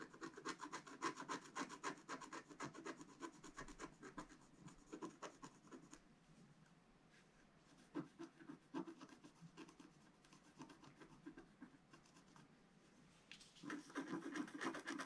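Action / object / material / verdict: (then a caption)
scrape / coated scratch art card scraped with a wooden stylus / coated card / none. A pointed wooden stylus scratches the black coating off a flat sheet of scratch art card lying on a table, working in short strokes to reveal the colour underneath. Quick, dry, raspy scrapes come in rapid, uneven bursts, fade to softer, sparser strokes through the middle, then return louder at the end.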